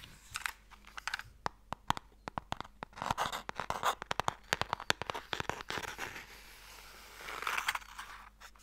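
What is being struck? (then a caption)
Light wooden box with sliding lid. A long, narrow, light wooden Mikado box with a sliding lid, hollow with sticks inside, is tapped and scratched with long nails and fingertips. Quick, sharp, dry clicks come in rapid uneven bursts, mixed with brief crinkly scratching passages. The sound stays thin and bright, with almost no low end and no ring after each tap.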